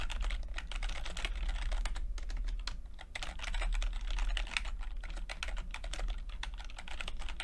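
Fingertips type on a plastic backlit chiclet computer keyboard with plastic keycaps, producing a quick, irregular stream of short, bright clicks. A steady low hum sits underneath the tapping throughout.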